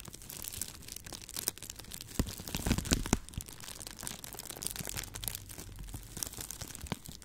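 A clear plastic bubble wrap tube is held in both hands in front of the mic and squeezed and popped with fingertips and long nails. A steady bright crinkling runs throughout, broken by sharp, dry pops that cluster loudest around the middle of the clip.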